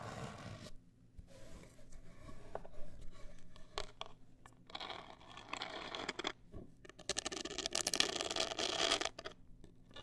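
Long acrylic nails scratch a black printed, hollow rigid cardboard cosmetic box up close, giving quiet, dry, bright scraping bursts in an irregular rhythm. The strokes come in short rasping runs separated by brief pauses, swelling louder and brighter near the end before dropping away.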